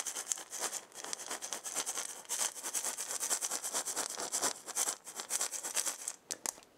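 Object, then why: Wooden maraca with hollow ball. A wooden maraca with a wooden handle and a hollow ball is gripped by the handle and rubbed with long painted nails and fingertips while being shaken slightly. A dense run of quick, bright scratching and rattling ticks continues with little low end, then thins into a few sharp taps before ending.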